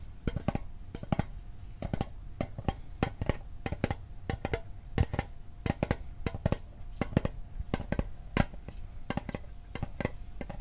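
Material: Tin.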